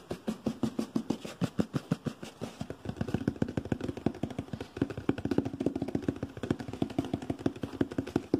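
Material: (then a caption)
Cardboard. A hollow, medium brown cardboard shoe-type box is held close and tapped and scratched rapidly with fingertips and nails. It gives a steady stream of quick, dull, hollow taps with a low-mid boxy tone, each dying almost instantly. A faint rough scratching texture fills the gaps.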